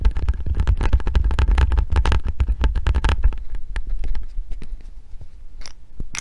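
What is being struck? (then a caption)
Hand grip trainer with foam handles and metal coil spring. A hand gripper with pink foam handles and a metal coil spring is held in one hand while long painted nails tap and scratch the spring and handles. Quick, dense, uneven tapping and scratching with a low, dull thump runs for about three seconds, then thins out into sparser, quieter ticks and a few bright scrapes near the end.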